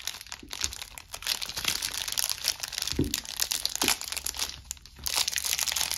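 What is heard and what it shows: Long pink-painted nails and fingertips rub, scratch and squeeze the clear plastic film sealing a solid, palm-sized green-and-white striped soap bar held in both hands. The film gives a steady, bright, dense crinkling with sharp crackles, rising and falling in loudness with little low end. The film stays sealed while it crinkles.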